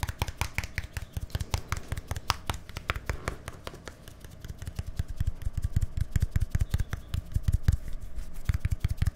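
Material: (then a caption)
Plastic. A small, hollow white plastic deodorant stick with a green cap is held close to the microphone and tapped rapidly with fingertips and nails. The taps land as quick, dry, low, hollow thuds with sharp clicky tops that die away almost instantly. The tapping runs steadily throughout and grows louder and more forceful in the second half.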